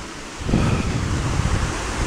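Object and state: Nothing is struck.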